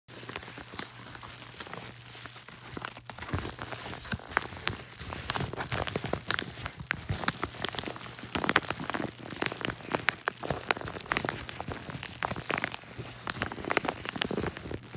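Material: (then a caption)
Kraft paper. Fingertips and short nails grip, press and crinkle a hollow yellow kraft-paper padded mailer with a Media Mail label that holds a book. The result is a steady stream of dense, crisp paper crinkles and sharp, bright ticks with no ring, over a faint low hum.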